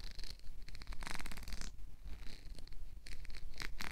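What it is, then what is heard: Plastic comb. A black plastic wide-tooth comb is held up while fingertips strum and flick its teeth. The result is rapid bursts of dry, bright clicking rattles, each fading quickly, over a steady low rumble.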